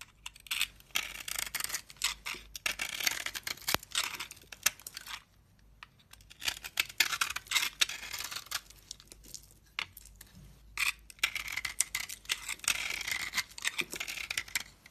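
A solid bar of soap with a red glitter coating, held in the hand, is shaved with a utility knife blade. Bright, crisp scraping and cutting strokes come in quick rough bursts, with brief quiet pauses around five and ten seconds. There is almost no low end and no ringing after each stroke.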